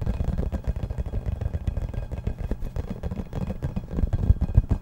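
A hollow yellow rubber or vinyl ball, about 15 cm across, is held in the hands and tapped and scratched with fingertips and nails. The result is a fast, uneven stream of dull, deep thumps with faint scratchy clicks on top, each tap dying away almost instantly.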